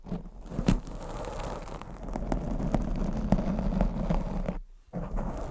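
Long blue acrylic nails scratch over the top and sides of a black foam microphone windscreen. The result is a dense, low, muffled rustling and crackling scrape dotted with sharp little ticks. It breaks off into near silence for a moment just before the end, then resumes.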